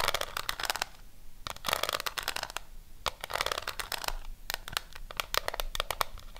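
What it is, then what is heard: Cardboard eyeshadow palette. Long fingernails tap and scratch the front of a pink W7 cardboard eyeshadow palette held above a microphone. Bursts of quick, dry, bright clicks and scratchy rustling come in clusters separated by brief pauses. Each tap stops short with no ringing.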